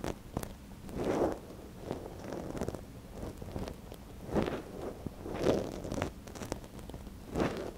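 A thin wooden stick held by gloved fingers scratches inside the canal of a small, soft silicone ear on a binaural microphone. The result is close, dry rustling and scraping with faint crackles, centered in the low-mid range. Several louder, swelling scrapes rise out of a steady quiet rustle.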